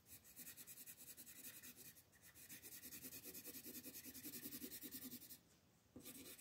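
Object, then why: Colored pencil rubbed on a paper page over a wooden table. A colored pencil is rubbed back and forth in shading strokes over a flat printed paper coloring book page lying on a wooden table, held down by one hand with long green nails. The result is a steady, bright, raspy scratching that rises and falls rapidly with each stroke, briefly pausing near the end before resuming.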